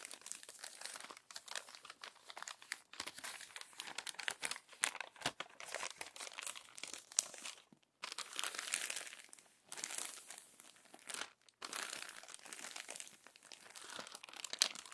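Hands with long nails flatten and turn the crumpled, crinkled pages of an open glossy paper magazine. The result is dense, bright crinkling and rustling that runs almost continuously, with brief pauses near 8 and 11.5 seconds.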